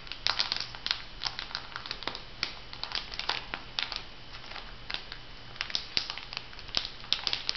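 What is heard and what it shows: A filled, flat brown printed foil sheet-mask packet is scratched and crinkled by long nails and fingertips. Dense, bright crinkling comes in quick sharp crackles over a steady faint hiss, with dozens of short snaps packed closely together and almost no ring after each one.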